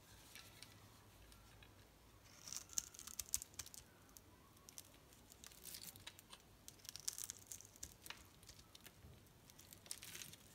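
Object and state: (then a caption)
Bar soap being scraped and cut. A metal utility-knife blade scrapes and cuts the surface of a solid pink striped bar of soap held in hand, with small soap cubes breaking off. Quiet, bright, crisp crunching and scraping comes in clustered bursts, loudest around the third second and again near the seventh and tenth, over faint low background noise.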